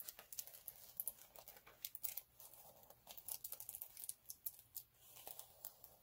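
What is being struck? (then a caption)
Chunky glitter sheet scratched with fingernails. Both hands scratch short nails across a flat multicolour chunky glitter sheet lying on a dark cloth. The result is a quiet, bright, crinkly scratching made of rapid, crisp ticks and rasps. Each tick dies away almost at once, and there is almost no low end.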